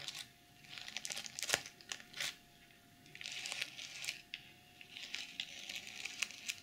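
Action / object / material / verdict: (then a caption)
scrape / sequin-covered pouch / plastic sequins / none. Long nails scratch across and flip the reversible plastic sequins on a small zippered BH Cosmetics pouch, just taken out of the box. The result is bright, crinkly rustling in uneven bursts, broken by sharp, quick clicks and short quiet gaps, with almost no low end.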